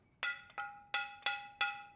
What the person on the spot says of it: sounds like metal yeah extremely dense